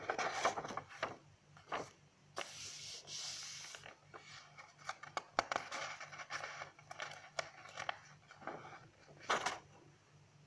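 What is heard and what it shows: Long nails and fingertips rub and scratch across the pages of an open lined paper notebook and grip the page edges. The result is a quiet stream of dry, papery scrapes, crinkles and soft snaps, with a bright, hissy rustle around the third second.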